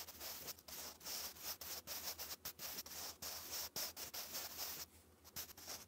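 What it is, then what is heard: Pencil writing on lined paper. A sharpened wooden pencil held in the fingers writes cursive letters continuously on a textured, lined notebook page. It makes a steady, dry, bright scratching and rubbing that rises and falls with each stroke, broken by tiny pauses. The scratching briefly quiets near the end before resuming.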